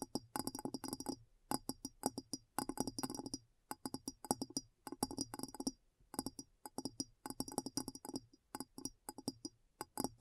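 Long nails tap the sides and base of a large, clear, hollow glass bowl that sits empty and upside down. Quick, dry clicks come in rapid bursts with short pauses between, each tap carrying a faint glassy tone around 246 Hz and a bright clink.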